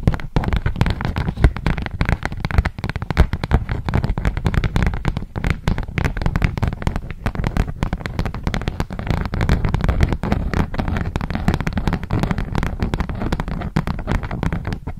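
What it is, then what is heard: Beeswax-coated cotton food wrap. Long fingernails tap, scratch and crinkle a polka-dot beeswax-coated cotton food wrap sheet spread out behind the microphone. The result is a dense, continuous crackle of close, bass-heavy rustles and sharp little clicks with very little brightness, holding a steady level throughout.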